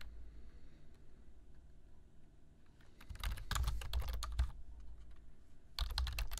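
Both hands type on a black plastic computer keyboard with their fingertips, tapping the keys. After about three seconds of faint low hum, a quick run of crisp, bright clicks plays, pauses briefly, then picks up again for a second flurry at the end.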